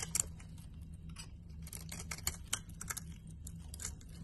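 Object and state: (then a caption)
Soap bar being carved. A box cutter blade slices thin curls off a solid cream and green soap bar held in the hand. The result is a run of soft, crisp scraping cuts with bright, dry edges, heard over a low steady hum.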